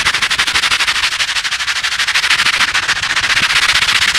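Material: Foam.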